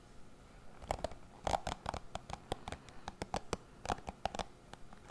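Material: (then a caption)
Plastic. Fingertips scratch and flick across the dense bristles of a hand-sized dark plastic cushion hairbrush held beside a foam-covered microphone. About twenty sharp, dry flicks come in an irregular rhythm, each a short crackly snap with a faint ringing tone near 770 Hz, over a soft scratchy rustle.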